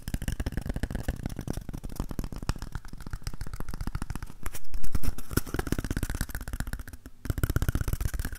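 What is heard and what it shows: Fingertips and nails scratch and tap along the side of a single empty, hollow cardboard toilet roll tube held horizontally in both hands. The result is a rapid, irregular stream of soft, hollow, low thumps and dry scratches, swelling to a louder patch around the middle before a brief lull and a final flurry of taps.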